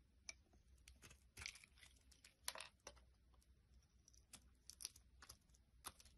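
A small solid red glycerin soap bar, held in hand, is shaved with a metal utility blade while the shavings pile up on wood. Quiet, crisp scraping and crunching strokes come in an irregular series, each short and bright with little ring, over a faint low hum.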